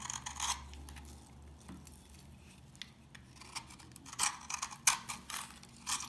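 An old, dry, solid orange soap bar held in the hand has its surface picked and scraped with fingernails and a knife. The result is a series of sharp, bright, crunchy crackles and scrapes as flakes break off, over a quiet low hum.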